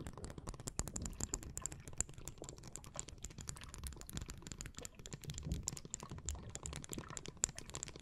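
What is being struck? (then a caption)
Plastic makeup brush handle tapped and scratched with long nails. Long blue nails tap and scratch along the long, glossy, iridescent plastic handle of a mermaid-style makeup brush, held horizontally in both hands. Dense, rapid clicks and taps come with a low rumble underneath and a bright, crisp edge. Each tap dies almost instantly.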